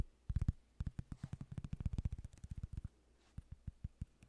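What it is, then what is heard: Cork coaster tapped and scratched. A small, thin, flat solid cork coaster is held in the hands close to the microphone while fingertips and nails scratch and tap its surface. The result is a run of short, dull, low thumps with faint bright clicky edges, coming in quick bursts separated by brief pauses.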